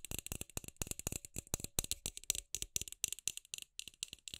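Long acrylic nails tap rapidly on a palm-sized, hollow, milky white round frosted plastic LED light bulb held in the hand. The result is a fast, uneven stream of sharp, bright clicks with a light rattling quality. Each tap stops almost instantly with no ring, all at a quiet level.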